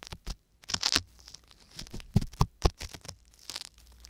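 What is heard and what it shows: A wooden ear pick with a thin metal tip scratches with small strokes inside the ear canal of a white silicone ear on a binaural microphone. It makes a series of short, dry, crackling scrapes with bright hiss and dull low thumps, separated by brief quiet gaps.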